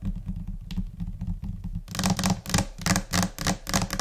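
Both hands tap a large, solid, flat white laminate desk top, likely laminated particleboard, using long orange-painted nails and fingertips in scattered, chaotic rhythms. For the first couple of seconds the taps are soft and muffled over a steady low hum. They then turn louder and brighter, with sharp, clicky nail strikes that fade quickly.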